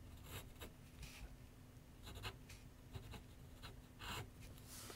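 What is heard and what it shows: A graphite pencil writes and scratches on a large white paper sheet mounted on a board, solidly backed, on a wooden easel. Quiet, irregular bursts of dry, bright scratching strokes come and go over a faint steady low hum.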